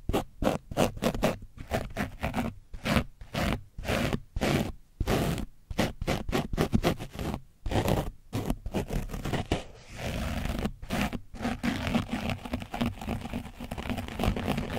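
A foam brush is scrubbed against the side of an orange foam microphone windscreen coated in dried paint. It makes rapid, repeated rough scraping strokes with short gaps, heavy in the low end, that blend into steadier continuous scratching in the last few seconds.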